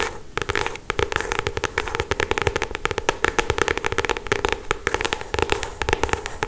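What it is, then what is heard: Paperback book. Long acrylic stiletto nails rapidly tap and scratch the glossy paper cover of a solid paperback novel, up close. A dense run of sharp, dry clicks spreads bright across the range over a steady scratchy hiss with a faint tone near 430 Hz, each tap dying almost instantly.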